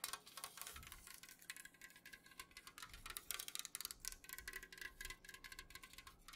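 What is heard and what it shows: An unopened, full Jumex aluminum juice can is held at an angle and tapped quickly with long nails on its printed side. The result is a rapid, uneven stream of bright, crisp clicks with a faint metallic ping that dies away almost instantly, set over a quiet low hiss.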